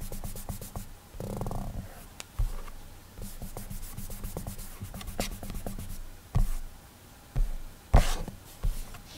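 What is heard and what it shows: Clammy fingertips rub across an iPad's glass touchscreen while coloring, slightly sticking to the glass. The result is a soft, low, muffled rubbing with faint squeaky drags, broken near the end by a few louder dull taps.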